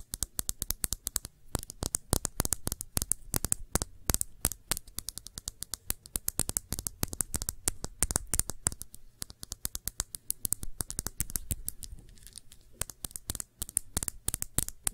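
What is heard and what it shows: Long nails tap and scratch a small, clear, thick-bottomed glass shot glass, hollow and empty and held on its side. A steady stream of quick, sharp clicks with bright tops dies away almost at once, over faint scratching and a soft low background hum.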